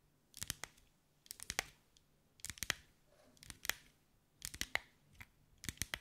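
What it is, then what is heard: Glass mosaic ball. Long white acrylic nails tap and scratch over a hand-sized ball covered in small green mirrored glass mosaic tiles, held in the hands. Quick, bright clicks arrive in short, uneven clusters, each dying away almost instantly against a quiet background.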